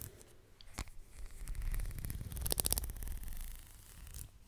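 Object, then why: Leather belt strap. Long nails scratch and tap along the strap of a black leather belt draped up beside the microphone, its end held at the top. Soft, dry rasping and quick light taps come in an uneven rhythm, with a low, muffled body under brief bright crackles. The sound builds to its busiest, brightest stretch in the middle, then eases back to quieter scratching.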